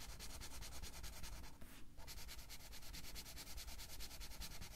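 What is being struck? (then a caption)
Felt-tip marker on a paper coloring book page. A blue felt-tip marker is rubbed quickly back and forth over the page of an open paper coloring book lying flat on a table, while the other hand holds the page. The clip is a steady run of rapid, scratchy, bright strokes with a low rumble underneath. A brief pause comes just before the two-second mark, then the coloring resumes.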